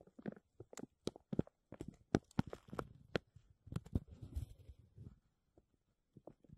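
A thin, clear, embossed plastic sheet from a textured vacuum-seal bag is draped over a metal mesh mic dome and gripped and crinkled by fingertips and nails. Quiet, irregular crackles and sharp snapping crinkles come in clustered bursts, with a softer rustling stretch in the middle, before thinning out to a few scattered crinkles near the end.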